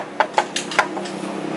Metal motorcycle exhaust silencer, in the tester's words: nggak ada isinya karena habis